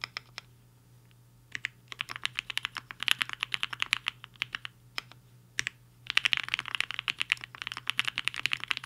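Fingertips of both hands type on a HI-FINGER 7.5, a black-cased 75% mechanical keyboard with a hollow case and white and pink plastic keycaps resting on a desk mat. Bursts of rapid, bright, clacky keystrokes come in quick runs, broken by short quiet pauses. Each keystroke is short and dry.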